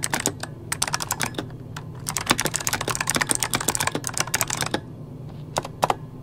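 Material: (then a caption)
Plastic. Fingertips of both hands type rapid key taps on a full-size backlit mechanical computer keyboard with plastic keycaps. Dense bursts of short, bright, clicky strikes with almost no ring run for about five seconds, then give way to a few isolated taps over a faint steady low hum.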